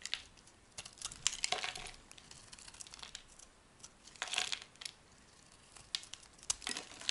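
A solid yellow-green oval soap bar held in the hand is carved with a metal blade, peeling off long curled strips. Short, dry, crinkly scraping strokes come in uneven bursts with quiet pauses between them, bright and hissy with almost no low end.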